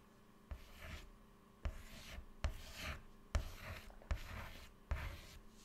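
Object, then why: White chalk on a chalkboard. White chalk held in the fingertips writes text on a flat black chalkboard panel, making short scratching strokes and dots. Six sharp taps of the chalk meeting the board are each followed by a brief dry, raspy scrape.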